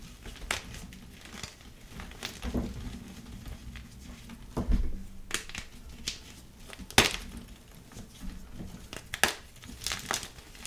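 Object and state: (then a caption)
Gym chalk block being crushed. Bare, chalk-powdered fingertips and palms crush and crumble palm-sized, light blue pasted gym chalk blocks (magnesium carbonate), solid and crumbly, lying in loose chalk powder. Irregular dry crunches and crumbling crackles with bright, gritty bursts sound over a low rustle. It ends with hands squeezing chalk over the pile.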